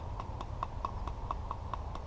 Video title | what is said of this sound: The Buck Mesa | that's the sound that is definitely a solid piece